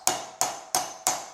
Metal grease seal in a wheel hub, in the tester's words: Tap this in until it sounds different. Sounds like it's all the way down.